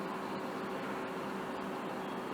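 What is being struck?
Nothing is struck.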